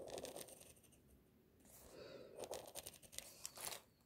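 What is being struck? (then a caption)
Pencil lead on paper drawing sheet. A pink mechanical pencil scratches long lines across a sheet of white drawing paper resting on a flat surface. Quiet, dry, bright scratchy strokes come in bursts, with a softer stretch of drawing in the middle before a busier run of quick, sharp strokes and small ticks.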